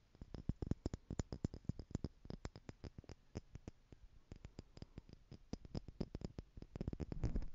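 Long nails tap on the lid of a small stack of clear plastic jars, hollow and partly filled with gold glitter. The result is a quick, uneven run of short, dry, hollow clicks with a low thud and almost no ring, building into a denser, louder patter at the end.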